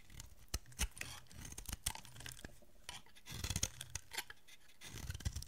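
A solid oval bar of dry green soap, held in the hand, is carved and scraped with a metal utility blade, with shavings falling off. It makes repeated short, crisp, bright scraping and cutting sounds with soft low rustling between the strokes.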